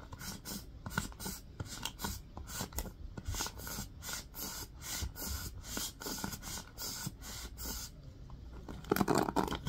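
Fingertips rub and scratch across the bristles of a black plastic round hairbrush with blue-tipped bristles. Quick, bristly scratching strokes repeat in a steady rhythm, each a brief, bright rasp over a soft low rumble, and a louder, denser scrape closes the clip.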